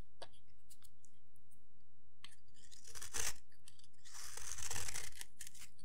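A solid rectangular bar of dry yellow soap, held in the hand, is scraped and shaved with a metal blade, its shavings curling off onto a pile. Quiet crisp ticks give way to two louder, bright, papery scraping strokes, the second longer and rougher, over a steady low hum.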